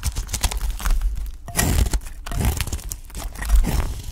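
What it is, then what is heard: Dry soap bar being scraped. A utility knife blade shaves and scrapes the surface of a solid, dry cream-colored soap bar held in the hand, cutting off thin curls. Dense, crackly scraping and crunching comes in repeated strokes, with longer, louder passes near the middle and end, each with a dull low body and a brief bright edge.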